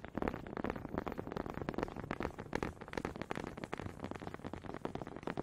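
Two small solid wooden honey dippers with grooved heads, held in both hands with long red nails, are knocked and rubbed together close to the mic. The result is a quick, uneven stream of short, dry wooden clicks and scraping rattles. The sound is mostly low-mid, with little bright top end.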